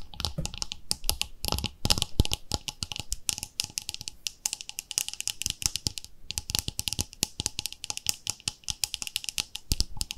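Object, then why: Plastic cosmetic jar with screw lid. Long nails tap rapidly on the screw lid and sides of a round, palm-sized white plastic body-cream jar with a pink label, apparently full. The result is a fast, continuous stream of bright, dry clicks with short, dull low thuds, brief pauses, and a short gap near the six-second mark. Each tap dies away almost at once.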